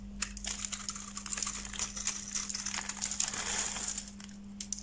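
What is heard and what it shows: A utility knife blade cuts into a solid white bar of soap with a yellow-rimmed edge, held in the hand, shaving off crumbly flakes. Many quick, bright crackling scrapes and crunches run throughout over a steady low hum.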